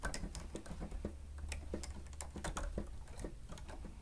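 Keys on a grey plastic stenotype machine with a screen are pressed rapidly with the fingertips and nails of both hands. The result is a quick, dense run of short, dry clicks and taps over a steady low hum.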